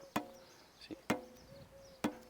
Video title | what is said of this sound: Vegh Turkish Bow 14 years old vs. new - Comparison | when everything is fine nothing is rattling it sounds solid like this one